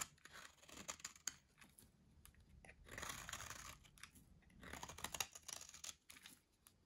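A metal blade slices cubes off a solid, dry orange soap bar with a grid-cut surface held in hand. The result is a quiet, bright, crunchy carving sound: crisp crackles and sharp ticks, with two denser, louder bursts of crumbling midway and near the end.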